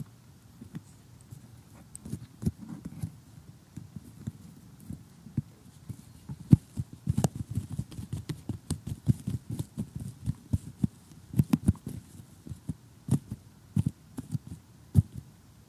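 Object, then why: Cardboard jigsaw puzzle. Short glittery fingernails tap across a glossy cardboard jigsaw puzzle lying flat, making quick, dry clicks in irregular bursts. Each tap is soft, low and dull and dies away almost instantly, over a quiet background.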